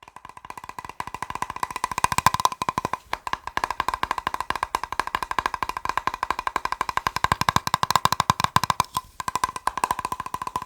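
A plastic box is tapped rapidly with fingers, producing a fast, steady stream of short, dry, hollow clicks with a bright tone around 1 kHz. The taps die away almost instantly, with brief pauses around 3 and 9 seconds.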